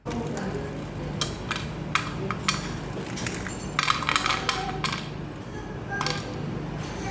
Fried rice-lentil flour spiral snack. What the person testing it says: चकली तोडल्यावर पण मस्त कुरकुरीत आवाज येतोय